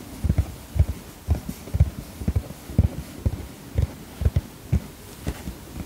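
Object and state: Padded vinyl zip pouch being tapped.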